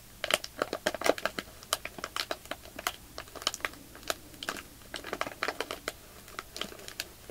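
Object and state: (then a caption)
Plastic bag of fake snow being crinkled. Fingertips and short nails squeeze a small, soft, clear plastic bag full of white polyester-fiber fake snow with a paper label, crinkling the plastic. Dozens of short, sharp, bright crackles come in quick, irregular bursts over a quiet, steady background, each snap dying away almost instantly.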